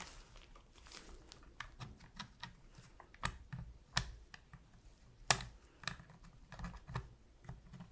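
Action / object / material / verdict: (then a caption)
tap / plastic game controller / plastic / none. A metal pick held in gloved hands taps and scratches around the face buttons of a black, hollow plastic PS3 controller while cleaning it. Quiet, irregular, dry clicks and faint scratchy rasps sound bright and short, with a few sharper taps standing out and no ringing after each one.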